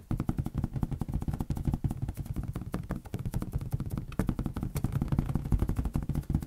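A large, hollow, air-filled green latex balloon, held over a white surface, is tapped rapidly with the fingertips of both hands. The result is a dense, continuous patter of short, deep, drum-like thumps that die away almost instantly, with steady energy throughout.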